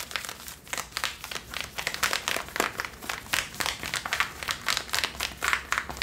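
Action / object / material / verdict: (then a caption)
scrape / cotton denim jeans / denim / none. Long nails scratch across the back pockets and waistband of worn Levi's blue cotton denim jeans, the soft fabric worn on the body, while a hanging tag may add a faint crinkle. Quick, irregular, dry strokes follow one another rapidly, each a bright, hissy rasp that stops almost at once, with almost no low end.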